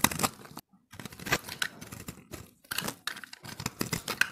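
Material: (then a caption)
Soap. A steel utility-knife blade shaves and scrapes flakes off a fist-sized, hand-held ball of pressed multicolored dry soap chips. Dense, bright scratchy rasps come in quick bursts with short pauses between them, each stroke crisp with no ringing.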